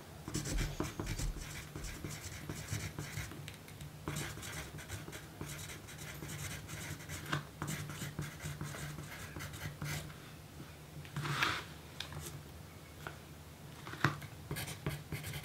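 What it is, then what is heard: Paper note sheet being written on. A yellow graphite pencil writes a list on a small pink paper note sheet resting on a dark table, with the magazine beside it left untouched. Soft, dry scratching strokes come in quick bursts of bright, rasping texture over a low, steady hum, with a few sharper taps where the pencil meets the page.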